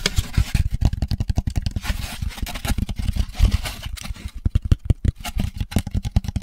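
An empty, hollow molded paper pulp drink carrier tray, held close to the microphone, is scratched and tapped with the fingertips. The result is a rapid, uneven run of short, dull, deep thumps mixed with soft papery scratching. Each tap dies away almost instantly.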